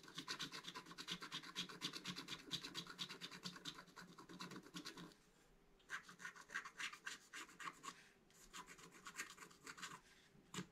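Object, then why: Black-coated scratch art paper card scraped with a wooden stylus. A wooden stylus scratches and rubs the upper right area of a flat, black-coated scratch art card while the left hand holds the card flat. Rapid, bright, rasping strokes run steadily for about five seconds, then fall quiet briefly. Quicker bursts of scratching follow, ending with one last short stroke.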